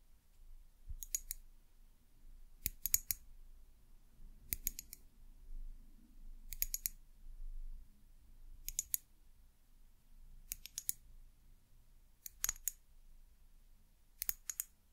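A small amber glass bottle with a white plastic cap is tapped with long nails, giving quick bright clicks in short clustered bursts. The bursts come roughly every two seconds over a low, quiet background rumble.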